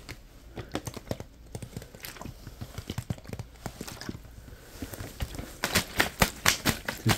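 A small, clear plastic water bottle with a green label, hollow, empty-looking and partly crushed, is held in both hands and tapped and squeezed with the fingertips. It gives quick, irregular, crinkly plastic taps and crackles with a dull low knock under each one. The taps grow louder and sharper toward the end.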